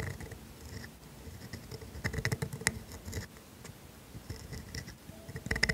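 A pointed steel calligraphy dip pen nib in a holder, held by a hand with painted nails, scratches across a thin sheet of grid-ruled writing paper lying flat while writing cursive letters. The sound is continuous, bright nib-on-paper scratching with a dry, papery texture, punctuated by sharper strokes and quieter pauses between them.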